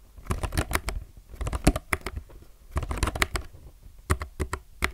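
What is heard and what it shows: A low-profile mechanical keyboard with plastic keycaps is typed fast with the fingertips of both hands. Quick, sharp clicks come in uneven bursts with short pauses between them. Each keystroke is brief and dry, with a low thud under a bright tick.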